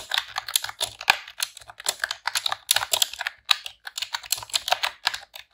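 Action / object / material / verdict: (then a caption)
tap / plastic computer keyboard / plastic / none. A pink retro-style plastic computer keyboard with round keycaps is typed on with long press-on nails and fingertips in rapid key presses. The result is a dense run of sharp, bright clicks and clacks that stop dead with no ring.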